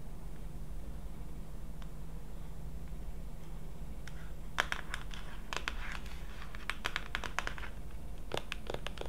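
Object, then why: Plastic pump lotion bottle. Long acrylic nails tap and scratch along the front label of a tall blue plastic Curel lotion pump bottle, hollow and apparently filled, held in one hand. A steady low hum runs throughout, and from about halfway in, quiet, irregular bright clicks and short scratchy strokes break through.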